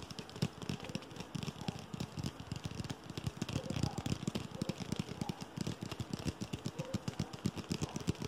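An aluminum Pepsi 'Spider' branded drink can, held in both hands close up, is tapped and scratched rapidly with fingertips and nails. The result is a dense, irregular stream of short, dry taps with a low body and faint bright scratching on top, continuing for the whole clip.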